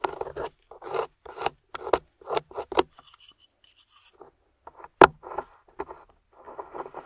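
A small metal spatula scrapes crumbly, thick dry beige clay or plaster crust, with a dark embedded piece, away from a solid translucent glycerin soap bar held in the hand. About ten short, gritty, rasping strokes sound in a mid-range band. A quiet pause with faint bright ticks follows, then one sharp, louder scrape and more soft scraping.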